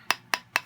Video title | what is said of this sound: Bath bomb swirling technique | When you hear the hollow sound, you know it is ready to just pop off.